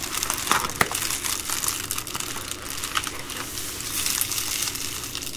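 An Amazon Prime plastic bubble-lined mailer, flat and soft and lying on a wooden table, is crinkled and rubbed with fingertips and long green nails. The result is a steady, bright crackling crinkle, with quick papery snaps scattered throughout and little low end.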